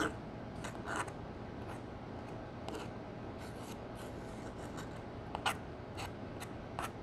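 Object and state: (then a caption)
Pressed powder eyeshadow being crushed. A metal spatula crushes a copper shimmer pressed powder eyeshadow pan in a palette into chunks. Quiet, dry scraping and crumbling is heard over a low, steady hiss, with short, bright, crackly bursts as the powder breaks apart.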